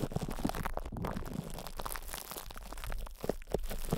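Hands cup and squeeze a metal microphone head wrapped in cling film while fingertips rub the crinkled plastic. The result is a close, continuous crinkling and crunching texture with muffled low rumbling and scattered soft pops throughout.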